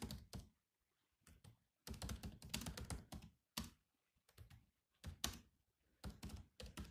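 Fingertips type on the black plastic keys of a grey laptop keyboard, with some heavier key strikes mixed in. Quiet, soft clicks with a low thunk arrive in short bursts separated by brief pauses, each tap ending almost instantly with a faint bright tick on top.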